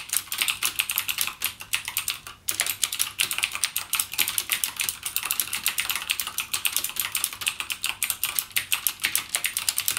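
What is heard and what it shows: Fingertips type rapidly on the clicky Cherry MX Blue switch keys of a backlit plastic mechanical gaming keyboard. A steady stream of sharp, bright clicks rings very briefly with almost no low end, pausing only for a moment near 2.4 seconds.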